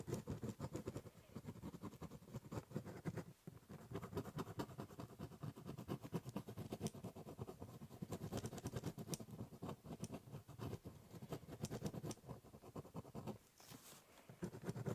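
A ballpoint pen scratches short strokes across the top surface of a large, hollow, brown corrugated cardboard box, scribbling and cross-hatching. The result is a quiet, steady run of dense, rapid scratches with a low, hollow body and little brightness, broken by brief pauses near 3.4 and 13.5 seconds.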